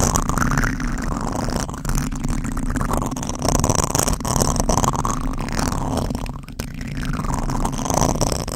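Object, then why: Foam microphone windscreen. Fingertips scratch and rub a black foam windscreen on a microphone, producing a continuous close-up rustling and scraping. The sound has a heavy low rumble beneath brighter crackling texture. The level stays steady throughout, with brief dips.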